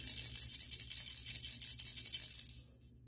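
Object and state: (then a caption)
Plastic toy figure rattling. A small hollow plastic Burger King Rio 2 toy, a blue macaw with green ball attachments on its raised wings, is held in the fingers and shaken quickly. Its parts rattle against each other in a fast, uneven, bright clatter that stays mostly high in pitch. The rattling fades out over the last half second.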